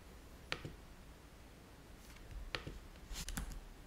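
Fingertips of both hands tap the low-profile keys of a black plastic laptop keyboard, producing five short, sharp clicks. The clicks are quiet and bright, with a crisp attack and almost no ring. They are spaced unevenly over a low, steady background rumble.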